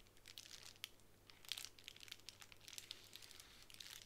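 A plastic bubble wrap sheet on a table is scratched with long nails, giving quiet, bright crinkling and scraping with many small sharp clicks. The sound stays soft and high throughout. There is almost no low end, and each click dies away at once.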